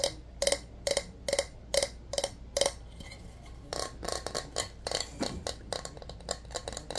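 A white bowling pin with red stripes and a hard, glossy coating is held in both hands and tapped with fingertips and nails. Seven evenly spaced, bright taps with a short hollow tone around 555 Hz open the clip. A looser, quieter run of irregular clicks and taps follows.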